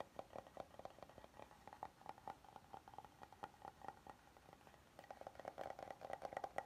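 Fingertips and nails tap and scratch the face of a flat, oval, solid wooden serving board held upright. The result is a run of quiet, dry, clicky taps with a woody tone near 780 Hz that die away almost instantly, mixed with faint scratchy rasps. The tapping grows faster and louder toward the end.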